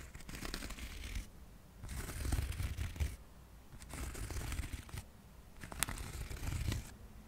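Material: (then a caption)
Cork. A small, solid, flat square cork coaster held close to the microphone is scratched and tapped with fingertips and nails. Dry, crackly scratching comes in four bursts separated by quieter pauses.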